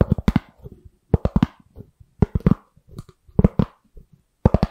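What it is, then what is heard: Styrofoam lid. A thin, white, round styrofoam lid is held beside the microphone and scratched and tapped with long nails and fingertips. Quick clusters of short, dry, dull taps come in bursts, with soft scratching between them. Each tap stops almost at once.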